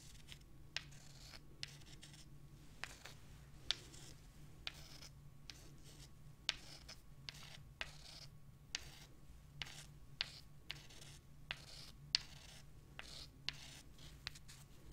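Long dark nails scratch small, solid, pale limestone rocks, and the rocks are rubbed against each other. Quiet, bright, dry scratching comes in short bursts, punctuated by sharp clicks that die away almost instantly, over a faint steady low hum.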